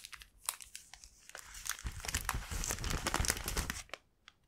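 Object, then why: Thin soft plastic bag. An empty, thin, soft mint-green vinyl gift bag with a white flower print is held and opened with both hands and fingertips, its film flexed and crinkled. Sparse bright crinkles and snaps open the clip, then build into a denser, louder run of crackling with a low rustling underlay. The sound fades out with one last faint tick.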